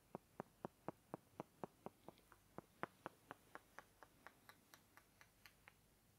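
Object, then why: Small wooden blocks. Two small, light-coloured, solid-looking rectangular wooden blocks are held in both hands and knocked against each other, first near the ear and then in front of the chest. About 25 short, dry clacks come in a steady rhythm of roughly four per second. Each is crisp and mid-pitched with almost no ring, and the later clacks turn brighter and thinner.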